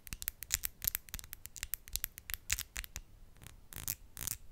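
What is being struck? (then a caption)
Acrylic fingernails. Long, solid acrylic nail tips tap and scratch against each other, nail on nail, with both hands held together in front of the mic. A rapid, uneven run of sharp, bright clicks with almost no ring is heard, and a few longer scratchy swipes blur together toward the end.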